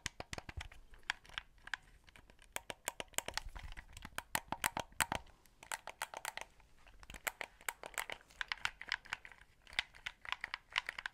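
Fingertips press the buttons and tap the casing of a white, hollow plastic Xbox controller held close to the mic. Quick, dry clicks and taps come in uneven bursts, bright and crisp with a hollow plastic ring around 900 Hz and little low end. Each click dies away almost instantly.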